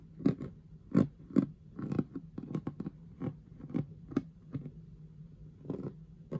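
Long manicured fingernails on a hand wearing a knitted glove and a ring tap and scratch across the rhinestone letter and star stickers on the front of a clear plastic storage box with an orange lid. The box is hollow and partly filled. The result is a run of short, dry clicks and scrapes with a steady low hum underneath.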